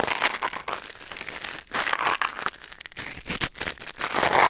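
A thin wooden or bamboo ear pick scratches and scrapes inside the ear canal of a white silicone ear mounted on a black binaural microphone. The result is a close, dry crinkling and crackling texture of bright scraping bursts with almost no low end. The bursts swell and fade unevenly, with a louder stretch at the end.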